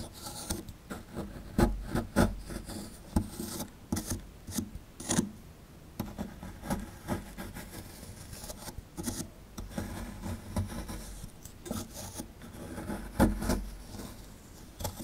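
A plastic chisel scrapes and digs a hollow into the plaster under the tail of a solid plaster dinosaur fossil dig block held in the hand. Short, dry rasping scrapes come in irregular bursts, with a dull low body and gritty texture, and some strokes land harder than others.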